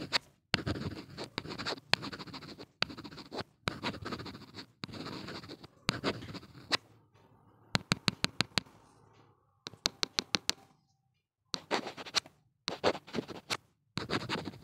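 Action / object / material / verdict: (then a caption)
scrape / plastic earphone inline mic housing / plastic / none. A gloved hand scratches a small hollow black plastic inline mic/remote on a Nokia earphone cable, resting on a wooden table, with the blue-tipped end of a pen-like tool in rapid small strokes. The sound is a series of short, bright, dry scratching bursts with quick clicky taps and brief silent gaps between them, and no lingering ring.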